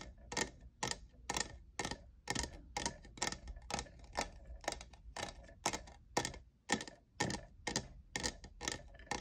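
Fingernails tap near the frosted logo of a hollow, lavender, diamond-textured plastic cold cup. The result is a steady series of short, dry, bright clicks, about two per second, each dying out almost instantly with no ring.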